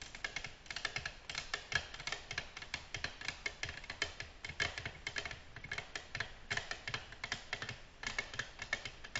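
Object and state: Glass tabletop tapped with fingernails.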